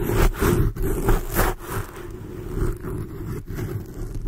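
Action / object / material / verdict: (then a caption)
scrape / foam microphone windscreen / foam / none. Long blue acrylic nails on both hands scratch over a black foam microphone windscreen. The result is a deep, muffled, low-heavy rumbling scrape that comes in uneven swelling bursts, with almost no bright top end.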